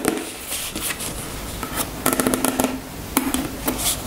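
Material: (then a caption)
Plastic. Long nails tap a soft, filled white plastic cosmetic tube held in the hands. The taps are quick, light clicks with crisp bright ticks and a dull, hollow low tone that dies away almost at once. They come in loose bursts over a quiet background.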